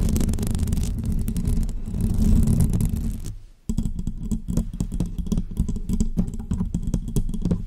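Long fake press-on nails scratch and tap the hollow metal mesh grille of a bare pink condenser microphone, producing a dense, boomy, low-heavy rustle that fades to near silence after about three and a half seconds. The sound then resumes as a quick series of sharper taps and scrapes as the nails move onto the painted mic body.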